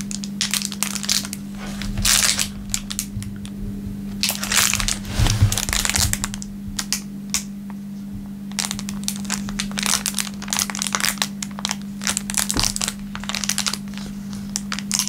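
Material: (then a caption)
Plastic film. A thin clear plastic film wrapper is rubbed on a wooden table, then held up and crinkled between the fingertips. Dense, bright crackling crinkles come in bursts over a steady low hum. Quieter stretches fall between the bursts.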